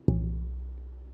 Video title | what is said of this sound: SLWG August 2022 Monthly Guild Meeting | that really rings i think that'll be a i think that'll make a loud good sounding guitar